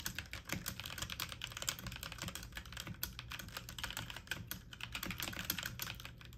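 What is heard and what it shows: Fingertips and medium-length nails type fast on a full-size backlit mechanical computer keyboard with plastic keycaps. The result is a dense, steady stream of bright, clicky plastic taps over a soft low thump, each keystroke dying away almost at once.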